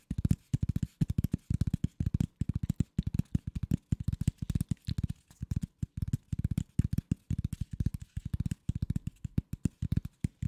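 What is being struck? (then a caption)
Corrugated cardboard sheet. A thin, empty, hollow-fluted flat rectangular corrugated cardboard sheet, held in both hands in front of the microphone, is scratched and tapped by fingertips and nails. A rapid, dense stream of dozens of short, dry, hollow thuds sits low in pitch with almost no bright content. Each tap dies away almost instantly, with brief scratchy pauses between bursts.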